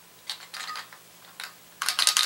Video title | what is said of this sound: How to Open Up a Computer Hard Drive | we kind of hear a rattling in there now that's either the platter kind of clanking